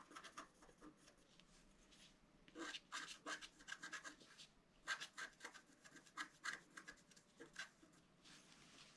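A pointed wooden stylus scratches a flat A4-size scratch-art card, its black coating over a colored foil layer, resting on a table. Quiet, bright, rasping scratch strokes come in irregular bursts, some with a faint squeaky tone around 1.6 kHz, separated by soft pauses.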